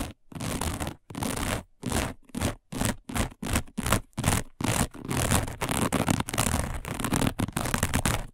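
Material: Woven fiber.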